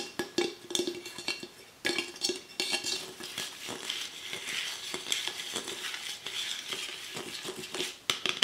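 Fingernails tap and scratch a small Red Nectar aluminum beverage can held in both hands, moving over the can body and its metal ends. Sharp, bright metallic clicks with very short ring come in quick bursts, mixed with thin, hissy scratching around 3 kHz and almost no low end.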